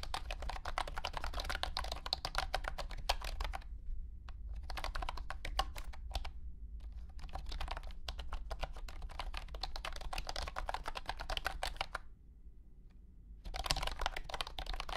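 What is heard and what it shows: Fingertips type on a compact white and blue plastic wireless keyboard with round hexagonal honeycomb keycaps and a hollow body. The result is fast bursts of light, clicky, bright key taps, broken by short pauses near 4 and 6.5 seconds and a longer gap around 12 to 13.5 seconds. A steady low hum runs underneath throughout.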